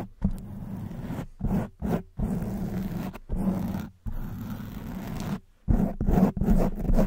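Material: Foam.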